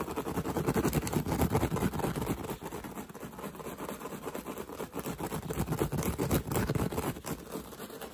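Fingertips and short nails scratch and tap quickly on a woven straw hat with a hollow crown, held close to the microphone. The result is a dense, rapid, uneven rustle of scratches and soft taps with a thick low-to-mid body and little brightness. Loudness surges and dips throughout.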